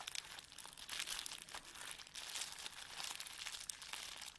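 Fingertips rub and press a clear plastic bubble wrap sheet lying on a table, and the sheet is folded over partway through. The result is a steady, quiet stream of bright, crisp crinkling and crackling with dense small bursts and almost no low end.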